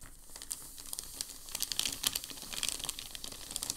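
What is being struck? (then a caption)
Thin packing paper sheet. A hand rubs and presses across a thin, crinkled sheet of packing paper lying on a table. Bright, dry crinkling and rustling is heard, with sharp crackles that grow denser and louder through the middle of the clip before easing off. Each crackle is short, with almost no ring after it.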